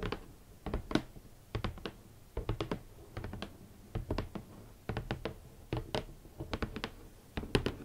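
A large, closed, hollow red cardboard Valentino boot box is tapped on its lid with long manicured nails and fingertips. The result is quick, uneven bursts of short, dry, hollow taps and clicks with a low thunk beneath them. Each tap dies away almost instantly.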